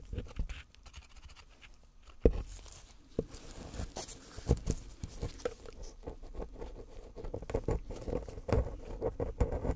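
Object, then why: Gold-painted plaster bar. A pointed metal pick scratches and digs into the lettering of a small, solid, gold-painted plaster bar held in gloved hands, leaving white plaster dust piling up. The sound is a close, low, dry patter of many short scrapes and crunchy picks, with sharper clicks standing out now and then.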